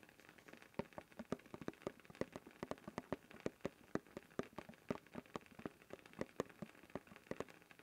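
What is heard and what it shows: Fingertips tap and scratch continuously on the blue plastic lid of a closed, labeled cylindrical canister held upright. The result is a steady stream of quick, dry, hollow-sounding clicks with very short decay, plus faint scratching between them.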